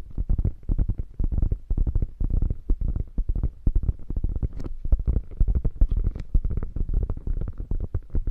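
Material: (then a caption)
Faux leather. Long nails on both hands scratch a beige quilted faux leather bag that is hollow and padded, making rapid, uneven bursts of soft scratching. The sound is deep and muffled, with almost all energy in the low end and hardly any brightness, and each stroke stops dry with no ring.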